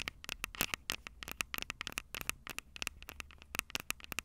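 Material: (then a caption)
Metal mesh. Long purple nails tap and scratch the two small metal-mesh condenser capsules on top of a Tascam DR-05 handheld recorder with a black plastic body, the same recorder capturing the sound. About 27 quick, dry, bright clicks come in an uneven run, each with a sharp metallic ping near 2.7 kHz over a scratchy, crackling hiss. The taps stop instantly with no ring and almost no low end.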